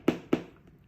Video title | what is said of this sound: เหล็กติดปลายเท้า (Toe plate) คืออะไร? มีประโยชน์อย่างไร? ควรเอารองเท้าไปติดหรือไม่? | มันเคาะแล้วเสียงคือเสียงมันไม่ดังกริ๊บกริบคือเวลาเราใช้โทเพลตบางอันเนี่ยมันกริบกริ๊บ